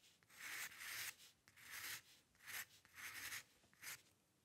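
A steel-nib dip pen loaded with ink, held in the fingers, scratches fine hair strokes across a flat sheet of white drawing paper resting on a dark table. The result is a series of soft, bright, dry scratching strokes, some longer and some short, with almost no low end and brief pauses between them.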